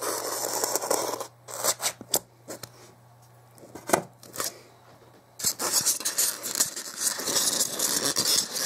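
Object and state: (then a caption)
Styrofoam block scraped. A pointed dark tool scrapes and scratches along the top edge of a solid white expanded polystyrene block held in a hand, then fingertips rub the block. Dense, bright, squeaky scraping gives way to sparse, sharp scratches over near-silence with a faint low hum. A continuous bright rubbing follows to the end.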